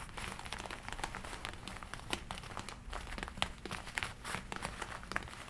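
Long nails scratch and rub along the sleeves of a worn red and black leather jacket. The result is a dense, quiet crinkling and scraping texture, with bright, sharp ticks scattered throughout and a faint low rumble underneath.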